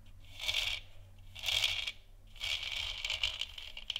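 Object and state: Plastic moon lamp.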